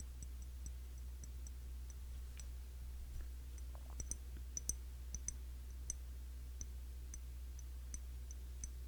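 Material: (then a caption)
Glass. Tapping on the glass body of a cologne bottle, a Classic Match clone of YSL Y, produces light, scattered clicking, ticking taps with bright, high tops. The taps are quiet and brief over a steady low hum.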